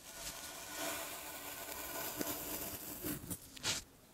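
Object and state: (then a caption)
Kinetic sand being raked. A red plastic rake with metal tines scratches and scrapes through loose, soft clumps of blue kinetic sand (sand with a polymer binder) piled on a dark cloth while the other hand holds the clumps. A steady, bright, hissing scrape runs throughout, ending in a few sharper gritty swipes before it fades.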